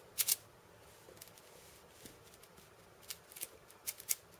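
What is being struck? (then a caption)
Cabasa with steel bead chains. A steel bead cabasa, with a wooden handle and chains of steel beads around a hollow cylinder, is held in both hands and turned so the beads rattle over the drum. It gives quiet, short, bright rasping bursts: a close pair at the start, then more scattered bursts toward the end, with faint soft rustles in between.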